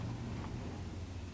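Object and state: Nothing is struck.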